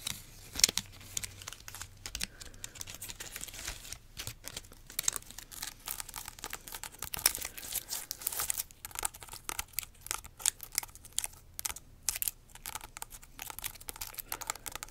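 A large, solid whole fresh pineapple with its leafy crown is worked over by long nails that scratch and tap the spiky skin and grip the crown. The result is a dense stream of dry, bright crackling and crinkling scrapes with many short, sharp clicks and almost no low end.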